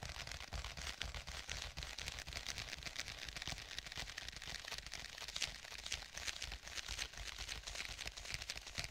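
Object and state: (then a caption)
Faux leather tablet case. Fingertips tap rapidly on the cover of a black stitched faux leather tablet case. The taps are dense, quick, and dry with bright, crisp clicks that die away almost instantly, over a steady low rumble.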